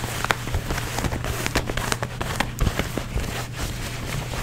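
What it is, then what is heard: Denim jeans scratched with fingernails. Fingertips and nails scratch and rub blue denim jeans, working over the seams and a frayed rip. A dense, crackling scratch with sharp bright flicks rides over a steady low hum, staying at an even level throughout.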